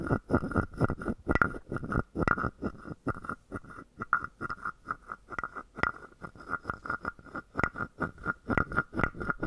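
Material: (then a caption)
Wood. A wooden stick is rubbed and tapped across the top of a palm-sized, hollow, carved wooden frog guiro. It makes a rapid, uneven series of short, dry, croaking clicks and scrapes, each ringing with a hollow wooden tone near 1.4 kHz over a soft low thump.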